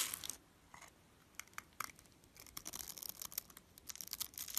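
A blade scrapes and carves crumbly cubes off the grid-cut top of a solid blue-and-white striped bar soap held in hand. Dry, bright scraping and crisp crumbling ticks come in irregular bursts, with quiet gaps between them. The sound has almost no low end.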